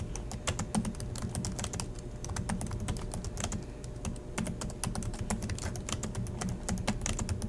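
Both hands type steadily with their fingertips on the black plastic chiclet keys of a silver Acer laptop resting on a desk. A fast, continuous run of short, sharp clicks and taps rises over a steady low hum, each key press bright and quickly fading.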